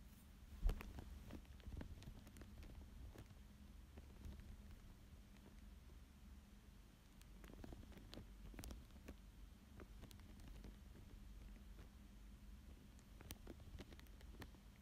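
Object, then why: Thin plastic sheet over paper. A thin dark tool traces and scratches across a thin clear plastic sheet lying flat over a paper fish drawing. The sound is quiet, with many short, faint ticks and scratchy crinkles over a steady low rumble and hum. The sharpest tick comes near the start.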